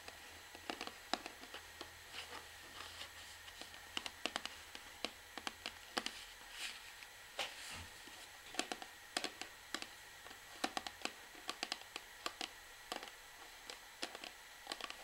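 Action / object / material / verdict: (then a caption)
tap / plastic shampoo bottle / plastic / none. Long fingernails tap an orange plastic shampoo bottle on its side, first while it is tilted and then while it is held upright. About 44 quiet, sharp, bright clicks come in irregular bursts, each dying away at once over a faint steady hiss.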